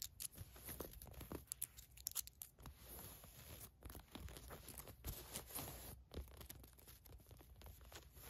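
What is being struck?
Polyester mesh shorts with knit waistband.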